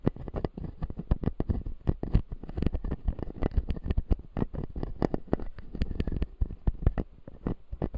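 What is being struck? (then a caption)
Plastic dental teeth model. A fingertip taps and scratches the white plastic teeth of a closed, solid, clear acrylic dental model. The result is a dense, uneven run of quick, dull, low-pitched taps mixed with soft scratching. Each tap dies away almost at once, and there is little bright content.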